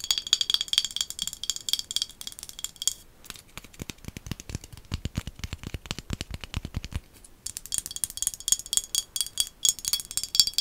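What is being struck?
Small glass bottle.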